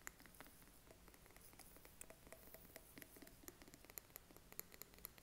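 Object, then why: Small glass candle jar with a metal lid. A small glass jar candle filled with wax and topped with a gold metal lid is held in the hand and tapped with short fingernails on both the glass and the lid. The result is a quiet, irregular run of quick, sharp clicks and light patters, some giving off brief bright pings that die away almost at once.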